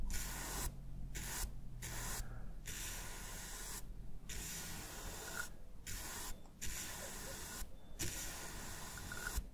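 A bristle shaving brush with a wooden handle rubs over the textured back of a hollow, hand-sized black plastic PS5 Midnight Black DualSense controller resting on a wooden desk. It makes a bright, hissy scratching in about eight strokes, each separated by a short pause, over a steady low rumble.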